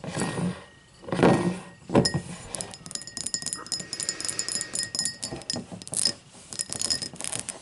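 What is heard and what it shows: Long matte black nails tap and scratch the sides of a tall, empty cut-crystal highball glass standing upright on a white table. Irregular bright clinks and short glassy ticks ring briefly over a soft scratching hiss, with a few louder, fuller taps standing out.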